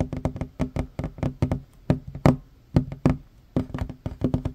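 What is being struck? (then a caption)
Wooden tabletop. Fingertips and short fingernails tap quickly on a worn wooden tabletop, a large solid surface. The strip shows about 21 short, dull knocks in an uneven rhythm, each with a low, woody thump and a brief bright click that dies away almost at once.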